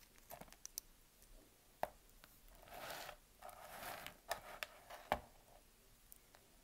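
A utility knife blade slices and scrapes a solid, palm-sized, light-blue Dalan bar soap held in one hand, with the shavings falling onto a tray. Quiet, sharp clicks and snaps come scattered through the clip, along with two longer, brighter scraping passes in the middle as the blade draws across the soap.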